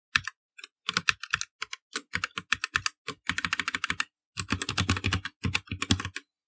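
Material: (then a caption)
Plastic. Fingertips of both hands type steadily and fast on a black, partly lit plastic mechanical computer keyboard with plastic keycaps. Bright, crisp clacks with a soft low thud underneath come in quick bursts separated by brief pauses. Each keystroke dies away almost instantly.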